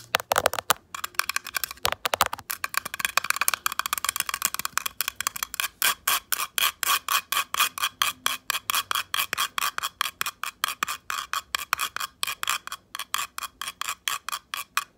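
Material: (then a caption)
Metal, plastic. Long acrylic nails scratch and rub across the perforated metal rasp pad of a hand-sized, light-blue plastic foot file held in one hand, and tap its plastic rim. Bright, gritty scrapes start irregular, then settle into a fast, steady rhythm of short, dry strokes with almost no ring.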